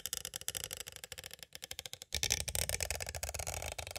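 Two green plastic stick tools give slower taps and light scrapes along the edges of a small, hollow, clear plastic cassette tape case. The sound is a series of short, dry, bright clicks with almost no ring. Around the two-second mark it shifts into a louder, denser stretch of rapid tapping and scraping.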